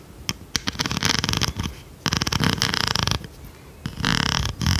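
A large blue plastic pencil sharpener with a metal blade, held up in one hand, is tapped and scratched with long red nails. Bursts of rapid, crackly scratching with bright, hissy texture alternate with short sharp taps and quieter gaps between them.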